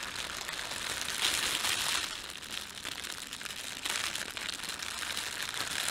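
Fingertips rub and crumple an empty, thin, red printed plastic bread bag. A steady, bright, crackling crinkle fills the clip, easing to a softer rustle in the middle before it picks back up to full crinkling.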